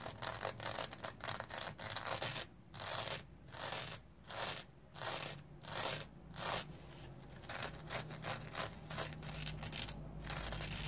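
Fingernails scratch the synthetic mesh surface of a dry rectangular foam sponge covered in yellow-green smiley-printed mesh with a yellow edge. The result is bursts of dry, bright, raspy scratching in an uneven rhythm, separated by brief quieter pauses.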